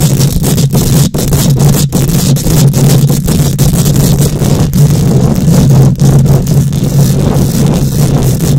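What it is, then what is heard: Metal mesh microphone grille being scratched. Long nails scratch with both hands across a hollow metal mesh microphone grille. The result is a loud, continuous, heavy rumbling scrape dominated by low frequencies, with a steady low hum underneath and a few brief dips in loudness.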